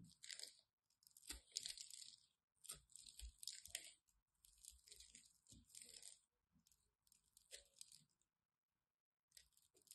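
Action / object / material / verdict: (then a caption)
scrape / bar of soap / soap / none. A solid green and white striped bar of soap has its edge carved with a craft knife, with chunks falling away. Bursts of bright, dry crunching scrape through the blade strokes, separated by brief silent pauses, and a longer gap comes near the end.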